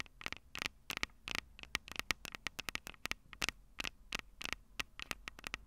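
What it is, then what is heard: Metal microphone capsules tapped with fingernails. Long purple nails tap the metal microphone capsules on a Tascam DR-05 recorder. About 27 quick, dry, bright clicks come in an uneven rhythm, each dying away almost at once, over a faint low hum.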